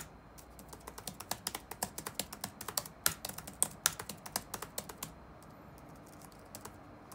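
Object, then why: Plastic laptop keyboard keys. Fingertips tap the black plastic keycaps of a dark laptop keyboard resting on a wooden desk, producing a quick run of about 28 crisp, bright clicks with very short decay. The typing is uneven in rhythm and loudness, with a few sharper accented taps in the middle, then thins out to occasional faint clicks at the end.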